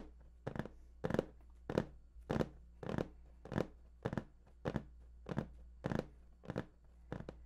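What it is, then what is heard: Cardboard box. Fingertips of both hands tap and scratch the top surface of a large, hollow, printed cardboard PS4 box, making a steady run of short, dry, scratchy bursts just under two per second. Each burst is brief and bright with a hollow midrange body and almost no ring, over a faint, constant low hum.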